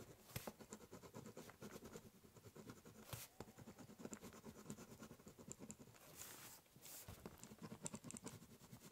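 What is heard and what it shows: A ballpoint pen scribbles and cross-hatches across the top surface of a large, hollow, brown corrugated cardboard box. The result is a steady run of quick, dry scratching strokes with a low, hollow body resonance beneath them. Occasional longer, brighter sweeps cut through the pattern.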